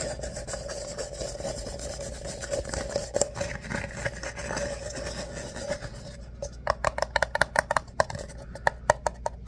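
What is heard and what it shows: An empty, hollow tan paper coffee cup with a ribbed ripple wall is held in the hand while fingernails and fingertips scratch and rub its ribbed surface. A steady rasping scrape with a faint tonal hum runs for about six seconds, then gives way to quick, sharp ticking strokes over a quieter background.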